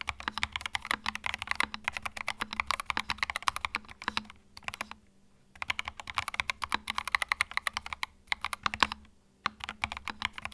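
Fingertips type continuously on a compact white mechanical keyboard with plastic keycaps. The result is a dense run of sharp, bright clicks with brief pauses near 5 and 9.5 seconds. A faint low hum sits underneath.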